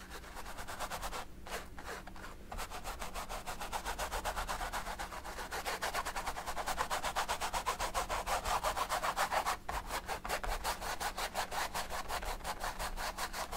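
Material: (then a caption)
Canvas, oil paint. A thin paint brush held in a hand is rubbed back and forth across a large stretched canvas covered in oil paint, lying flat on a table. Quick, steady strokes make a dry, scratchy swishing with a bright bristly edge over a faint low hum, pausing briefly early on and again near the ten-second mark.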